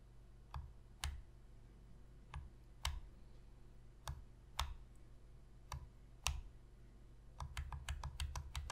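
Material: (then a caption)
Plastic. Long fingernails click the shoulder buttons of a hollow black plastic Sony PS3 controller held on its edge. Sharp, bright clicks with a soft low thump come singly at spaced intervals, then speed up into a rapid flurry at the end. Each click dies away almost instantly.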